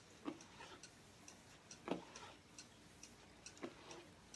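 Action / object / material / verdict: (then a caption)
tap / hardcover journal with cardboard covers / cardboard / none. A striped hardcover journal with cardboard covers, held upright, has its cover tapped with fingertips and nails. Irregular, dry, short taps with a low woody body around 300 Hz and faint bright clicks from the nails die away almost instantly over a quiet background.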